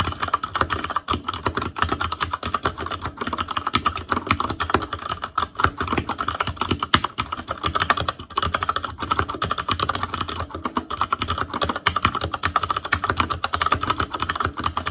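Steady fingertip typing on a black plastic Asus Claymore Core mechanical keyboard with Cherry MX Red switches. It makes a continuous stream of short, quick-decaying clacks with a tone centered around 1.3 kHz and a faint low thump beneath.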